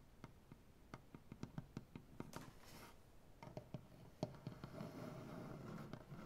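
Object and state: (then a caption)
Maple butcher block tabletop. Fingernails painted with black polish tap rapidly on a solid light maple butcher block tabletop, making about seventeen short, dull knocks with low body and almost no ring. Both hands then join in, tapping and scratching the wood so the knocks blur into a soft, continuous rustling patter.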